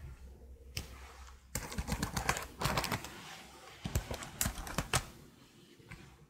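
Long blue nails type and tap on the keys of a detached black plastic laptop keyboard held horizontally in front of a microphone. Quick bursts of sharp, bright plastic clicks arrive in irregular clusters, separated by quieter gaps over a steady low hum.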